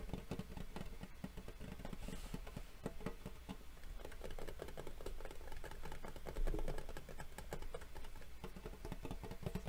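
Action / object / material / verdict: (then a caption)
tap / metal collector tin / tin-plated metal / none. A gold embossed metal Yu-Gi-Oh collector tin, a hollow rectangular box lying flat, is tapped and scratched with the long fingernails and fingertips of both hands. The result is a steady stream of quick, dull clicks and light scratching over a low, hollow body tone. Each tap dies away almost at once.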